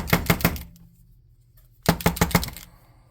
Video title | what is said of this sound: Making a Sprite (Pixie) for your TTRPG | There's little rattle balls inside these so that when you shake them, it actually kind of mixes up the stuff.